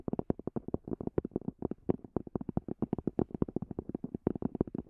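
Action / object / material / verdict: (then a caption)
tap / semi-rigid fabric-covered earphone case / EVA foam / none. Long nails tap and lightly scratch the top of a small black zippered EVA hard-shell earphone case, a hollow, semi-rigid shell with a fabric cover. A rapid, uneven string of soft, dull, hollow taps sits in the low-mids with no bright edge. Each tap dies away almost instantly, and the whole clip stays quiet.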